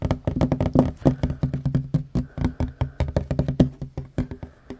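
Short fingernails and fingertips of both hands tap quickly on a large, solid, worn wooden tabletop. About thirty dull, low knocks come in uneven rapid bursts, each dying away almost at once with no bright ring.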